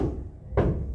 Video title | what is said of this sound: Clase 24 de FisiopatologÍa | abajo está hueco. Abajo de esto hay aire.